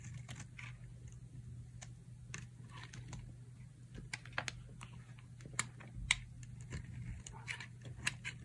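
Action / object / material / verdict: scrape / soap bar being cut with a blade / soap / none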